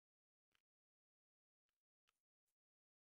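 An inflated round Halloween-print metallic foil (mylar) balloon is held up while long nails tap and scratch it. Four short, bright, crinkly taps ring out against silence, each with a quick dry decay.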